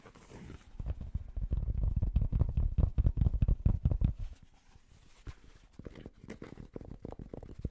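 Fingertips and nails rapidly tap and scratch the fabric crown and brim of a hollow, empty, light grey cotton-blend trucker cap with a printed logo, held in both hands. The quick, uneven patter of dull, low, muffled thumps is loudest through the first four seconds, then drops to softer, sparser taps and scratches.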